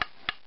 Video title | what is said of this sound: Walking sticks prep 1 | has a dead sound to it. It's really kind of just doesn't ring at all.